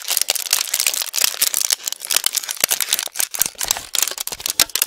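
An empty, long, thin brown plastic insert tray from a Thin Mints cookie box, hollow with ridged compartments, is held in both hands just above a foam microphone and tapped and pressed with fingertips and nails. It gives a steady stream of bright, dry crinkles and sharp clicks with almost no low end, each snap dying away almost at once.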